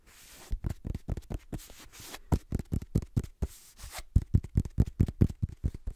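Fingertips tap and scratch the page edges and cover of a black paperback book, a solid block of paper. The result is a quick, uneven run of soft, dull, low thuds with very short decay, broken up by brief bright, hissy scratching strokes.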